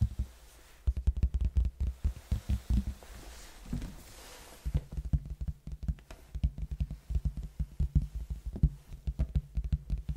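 A large, hollow red cardboard box, held tilted in front of the mic, is tapped and scratched with fingertips on its face. Quick, dry, deep thumps come in fast uneven bursts, with a softer scratchy stretch in the middle before the tapping picks up again. Each tap dies away almost at once, giving a muffled, boomy knocking sound.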